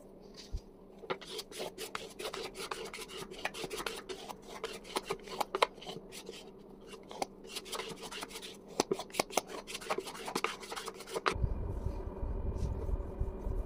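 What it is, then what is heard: Paper-covered wooden box being sanded. A handheld sanding block is rubbed over the paper surface and edges of a medium, hollow wooden box with decoupage paper glued on top, lying on a table, to sand off excess paper. Quick, raspy scraping strokes follow one after another, with sharper bright scratches mixed in. Near the end the strokes stop and a steady low rumble takes over.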